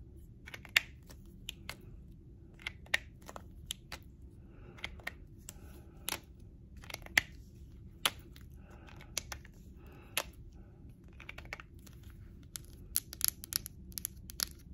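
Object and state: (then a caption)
Plastic highlighter pen, tapped and scratched. Long, dark-blue-painted press-on nails tap and scratch a small, hollow, yellow plastic highlighter marker held close to the microphone. Sharp, bright clicks and crisp scratches land at irregular intervals over a faint low background hum.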